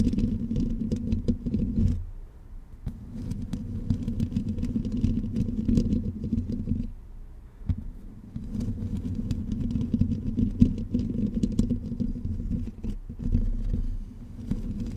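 Long pink nails scratch and tap the hollow black metal mesh head of a blue condenser microphone from both sides. The result is a dense, low, rumbling scrape peppered with faint bright ticks, broken by brief quieter gaps around 2 and 7 seconds.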